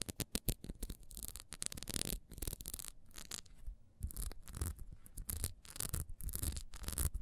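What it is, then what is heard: Ribbed wax candle. A small solid orange ribbed wax beehive candle is held and turned in the hands while long almond-shaped nails scratch quickly along its ridges. The result is a run of fast, dry scratching strokes with crisp bright edges and a soft low rumble of handling underneath.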